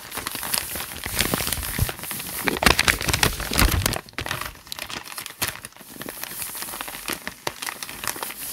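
Fingertips rub and crinkle the handwritten paper pages of a thick notebook lying open. Dense, bright crinkling and rustling crackles continuously, loudest in the first half before settling into softer, sparser crinkles.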